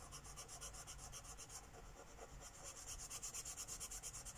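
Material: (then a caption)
Paper. A Sharpie marker tip is rubbed rapidly and densely back and forth across a flat paper coloring book page lying on a wooden table, coloring in a petal. Over twenty quick, quiet, scratchy strokes form a steady, bright, hissy rhythm with a faint low rumble beneath, growing more distinct toward the end.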